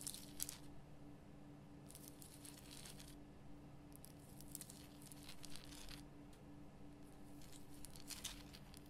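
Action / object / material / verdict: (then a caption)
scrape / rock-salt lamp / rock salt / none. Long painted nails scratch the rough surface of a large, solid, lit pink rock-salt Himalayan salt lamp. Bursts of bright, gritty scratching come and go over a steady low hum with faint tones near 150, 200 and 300 Hz.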